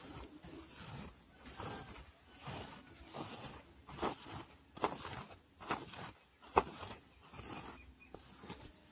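Fingers and nails scratch and rub the long pile on the dark brown-grey faux fur body of a soft, hollow handbag lying flat. The result is a run of soft, hissing, rustling strokes at an uneven pace, with a few sharper scratchy clicks.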